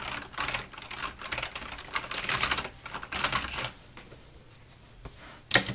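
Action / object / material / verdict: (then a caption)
tap / mechanical keyboard with plastic keycaps / plastic / none. Long nails tap across the plastic keycaps of a black Razer full-size mechanical gaming keyboard resting on a wooden desk. Bursts of bright, clacky keystrokes come in quick flurries, with short pauses in between. Softer isolated taps follow, ending in one sharp, loud click near the end.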